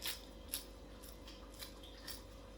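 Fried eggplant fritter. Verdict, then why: Crispy. A crispy fried eggplant (baingan) tikki pakora fritter is broken apart, giving a few short, sharp, high-pitched crunches spread over about three seconds. A faint steady hum sits underneath, and the crisp crackle shows the fritter is well fried and crunchy.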